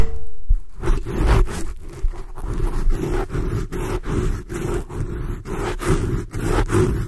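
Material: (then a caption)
Foam. Long glossy blue acrylic nails scratch intensely and very aggressively, with both hands, at the black foam cover on a large black microphone. The result is a deep, rumbling, scratchy roar of rapid, continuous strokes that is heavy in the low end and has almost no bright top.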